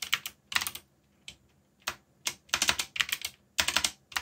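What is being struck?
Mechanical keyboard with plastic keycaps.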